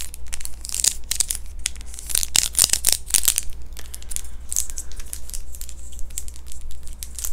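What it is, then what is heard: Thin clear plastic dental aligner. A small, thin, hollow clear plastic dental aligner is held up in both hands and scratched and tapped with long fingernails. The result is a dense run of sharp, bright clicks and crinkly scratching with very short decay, over a steady low hum.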